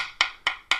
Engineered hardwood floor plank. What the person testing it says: It's going to sound a lot like hardwood, but it's going to be a little bit more clicky and a little hollow sounding.